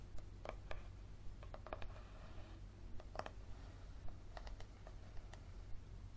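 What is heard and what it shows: Fingernails tap and scratch the back cover and spine edge of a yellow softcover paperback book, making about 14 short, dry, clicky taps spread unevenly across the clip. A soft scratching rustle runs between some taps, over a steady low hum.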